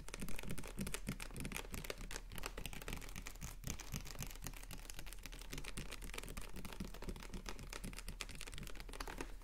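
A capped, clear plastic water bottle with a blue label is held in the hand and tapped rapidly with the fingernails on its ridged body. The result is a dense, continuous stream of quick, crisp clicks and light plastic ticks with bright edges, over a steady low hum.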